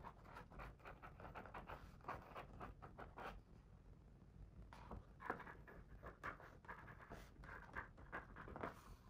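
A fingertip traces the text on the paper page of a hardcover picture book lying open on the same spread. It makes a quiet, steady run of short, soft scratchy rubs centered in the mid-range, easing off briefly in the middle before resuming.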